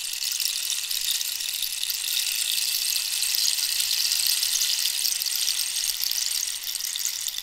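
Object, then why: Dried cactus wood rainstick. A hollow dried cactus-wood rainstick, held in one hand, has its ridged wood scratched and tapped by long nails. The result is a steady, dense, bright rattling hiss with almost no low end. It holds a fairly even level for the whole clip, with fine, closely packed clicks.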